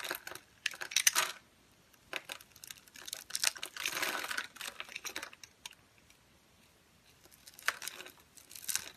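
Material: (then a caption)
Soap. A utility knife with a green handle scrapes tiny cubes off a solid, pale yellow, translucent bar of dry soap that is scored in a fine grid and held in the hand. Crisp, bright crunching and crackling comes in bursts separated by short pauses, with almost no low end and no ringing after each scrape.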